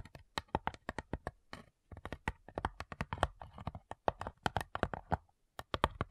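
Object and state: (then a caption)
Wooden cigar box. Long nails tap rapidly across the top lid of a small, hollow, light-wood cigar-style box with brass clasps. The clip is a fast run of about three dozen short, crisp clicks, each dying out almost at once, with a hollow woody tone around 650 Hz. The tapping comes in quick bursts separated by a few brief pauses.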